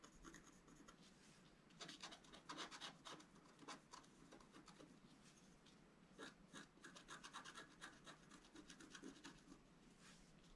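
A wooden stylus scratches away the black coating of a flat, solid scratch-art card, a sheet with a colored foil layer beneath, held flat on a table, in fine strokes. The strokes make quiet, dry, bright scratching and rasping in quick bursts, louder around two to three seconds and again from six to eight seconds, with almost no ring after each stroke.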